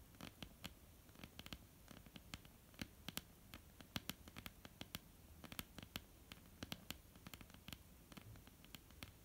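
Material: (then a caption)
Wood. Long polished nails on both hands tap and scratch a solid, flat, dark wooden tabletop. Quick, dry clicking taps land in an irregular run over a faint continuous scratching. Each tap is bright with a low thud beneath, stops almost instantly, and the whole clip stays quiet.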